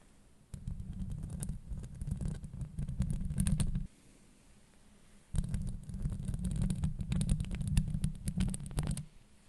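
Long nails scratch across a hollow metal mesh microphone grille in two extended passes with a short pause between them. The scratching comes through as a dense, low rumbling scrape, with sharp crackling ticks over the top.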